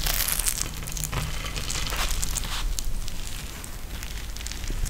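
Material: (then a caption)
Plastic. A pink eye mask with a clear plastic shell filled with gel beads and a fabric trim is held in one or both hands and pressed and squeezed. This produces a steady run of dense, bright crackling and crinkling over a low, constant rumble. The sound stays at an even level throughout the clip.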